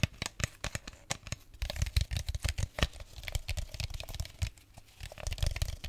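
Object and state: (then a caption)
Plastic bottle. An empty clear plastic drink bottle is held close to the mic and tapped and scratched with fingernails. A rapid, uneven run of short, dry clicks and crinkly scratches carries a hollow low thump under each tap. The bright surface noise dies away almost instantly.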